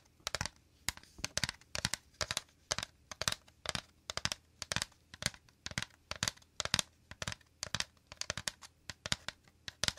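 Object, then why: Woven bamboo basket. Fingernails and fingertips rapidly scratch and tap the woven interior of a shallow, empty, round woven bamboo/wicker basket held to the right of the mic. Quick bursts of bright, crisp, crinkly scratching come in an uneven rhythm, each dying away almost instantly, with little low end.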